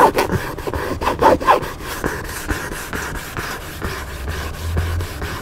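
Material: Paper.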